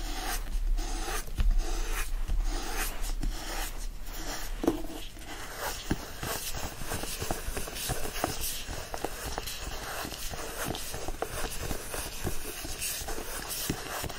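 Fingertips and short nails grip and scratch the solid cardboard cover of a teal hardcover copy of "The Secret Garden." The result is a steady, dry scratching and rubbing texture with quick, faint scrapes throughout.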